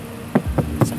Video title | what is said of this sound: Upgrade Ciamik Dari Mazda! Siap Konser Didalam Mobil? | rigid banget suaranya kayak batu